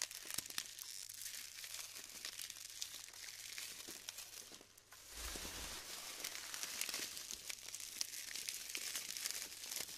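Fingers squeeze clusters of glued styrofoam foam balls apart, producing dense, bright crinkling and crackling with sharp snaps and pops. The texture eases briefly near the midpoint, then resumes just as busy, with almost no low end.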